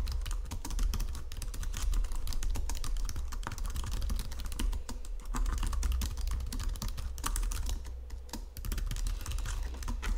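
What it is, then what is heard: Plastic computer keyboard. Fingertips and nails type rapidly on a white plastic Logitech computer keyboard resting on marble. Dense, continuous clicky key taps run throughout over a low, steady rumble.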